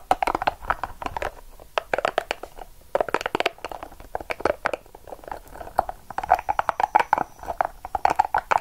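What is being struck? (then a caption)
Small soft rubber spiky ball. A small, hollow, yellow-and-purple soft rubber spiky massage ball is held in the hand, squeezed and scratched with long acrylic nails. The result is a dense run of quick, crinkly scratching clicks and squeaks, centered in the midrange with bright edges. The clicks come in irregular bursts, close and dry, with almost no ring.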